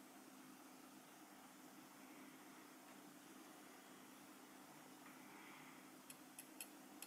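A small, solid gold-coloured metal lapel pin badge with a black enamel face, held in the fingers, is tapped with the tip of a steel cheese knife. After a long stretch of steady, hissy low-level background noise with a faint hum, four quick, bright metallic ticks come near the end. Each tick is short and high and fades fast.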